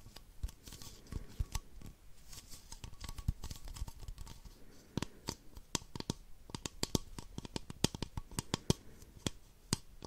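Long nails tap the sides of an empty, hollow, clear plastic baby bottle. Quick, dry clicks come at an irregular pace, with a soft rustling scratch between them, and the taps cluster more densely toward the end.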